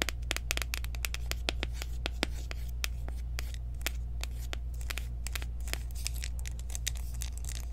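A small, round, clear plastic loose-powder jar with a sifter lid, partly filled with pale powder and held in the hands, is tapped and scratched with long acrylic nails. Fast, irregular, sharp clicks and light scratches ring out bright over a steady low hum.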